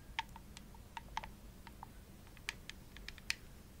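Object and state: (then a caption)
Plastic game controller. Long nails tap and scratch the shell of a hollow, purple, glossy plastic Xbox controller held near the face. About a dozen short, dry, bright clicks ring around 1 kHz and 2.5 kHz, spaced irregularly over a faint, steady low hum. Each click dies away almost instantly.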